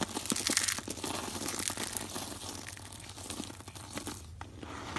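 A pile of thin, brittle shavings of dry bar soap in blue, pink and lilac on a woven mat is grabbed, squeezed and crumbled by bare hands with long coral nails. The result is a dense stream of bright, crunchy crackling and crinkling as the shavings are crushed and rubbed between the fingers. It is loudest in the first second and eases off slightly after that.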